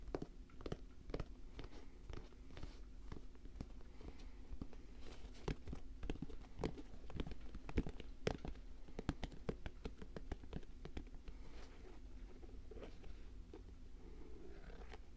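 Fingertips and nails tap and scratch the leather of an empty all-white leather Air Jordan 1 mid sneaker held close to the mic. The result is a quiet run of soft, crisp taps and scratchy rustles that are short and dry, with a few sharper clicks, all over a steady low hum.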